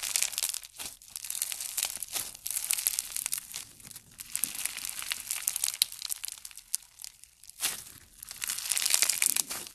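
A handful of pink and white slime full of tiny polystyrene foam beads is stretched and squeezed by both hands. The result is a dense, bright crackling and crinkling, like fine tearing, in swelling bursts separated by brief quieter pauses, with almost no low end.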